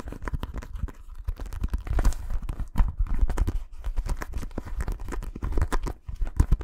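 A green inflated synthetic leather football, held close to the microphone, is tapped and scratched with fingertips. Rapid, dense, dry taps and soft scratching thump deep and dull, each hit dying away almost instantly.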